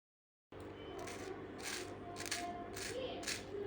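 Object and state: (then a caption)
Crisp baked savory pastry. A homemade baked savory pastry is cut open, giving a string of crisp, bright crunching bursts over a steady low background. The pastry sounds crunchy yet soft, light and well filled, not dry.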